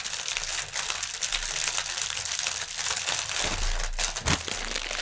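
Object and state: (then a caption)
Plastic air pillow packaging. Both hands press and crinkle a clear, inflated plastic air pillow packaging strip on a table with their fingertips. The result is a dense, continuous, bright crinkling with sharp crackles and a few soft low thumps as the cushions are squeezed.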